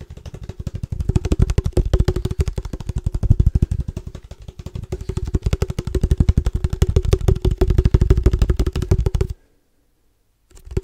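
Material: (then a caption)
Metal. A hollow black cylindrical padel ball tube with a red logo and metal lid, held upright, is tapped quickly with fingertips. It makes a rapid, uneven stream of deep, hollow thumps with a faint resonant hum that swells and fades in loudness. The tapping stops abruptly near the end, goes silent for about a second, then starts again.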